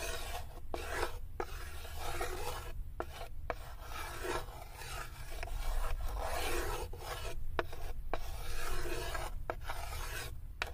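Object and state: Wooden tray scratched with fingernails.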